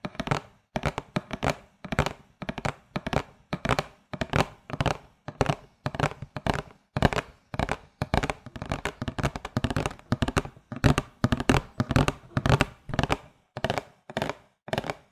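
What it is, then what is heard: Cardboard milk carton. Long fingernails tap and scratch the surface of a flat printed cardboard "Low Fat Milk" carton box held up in both hands. The result is rapid, irregular clusters of dry, dull taps with brief scratchy rasps, each dying away almost at once.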